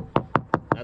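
Four hammer taps on a soft spot of a C&C 35 Mk III CB fiberglass sailboat deck give short, dull, hollow knocks with almost no ring. The hollow sound marks a wet, delaminated deck core near leaking track bedding, where a moisture meter reads off the charts in the red zone.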